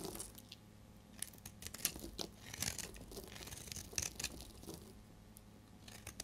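A solid, oval, translucent bar of dried amber soap is held in the hand and shaved with a utility blade, curling off yellow shavings. Each pass gives a dry, crisp, crackling scrape with bright, papery crunches over a faint steady low hum.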